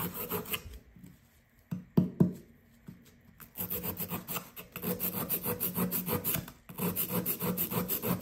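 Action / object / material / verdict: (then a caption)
scrape / compressed sand dig block / compressed sand / none. A solid blue compressed sand dig brick, held in the hand, is rubbed with a fingertip and scraped with a blue plastic chisel. Soft scratching gives way to a quiet stretch broken by a few sharp scrapes. Then comes a steady run of rhythmic, gritty scraping with a brief pause near the end.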